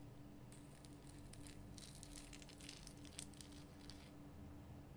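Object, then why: Rock salt lamp. Long nails on both hands scratch and tap a large, lit, pink Himalayan salt lamp made of a solid, rough rock-salt crystal. The result is a quiet, continuous run of bright, crinkly scratching with a few sharper taps, over a steady low hum.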